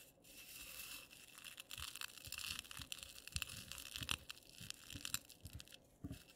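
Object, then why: Dry instant coffee granules on a clay plate. Fingertips and nails press, rub and scratch through loose, dry instant coffee granules on a dark clay plate. The result is a steady, bright, gritty crunching and scraping, with short crackly bursts of rustle rising and falling throughout.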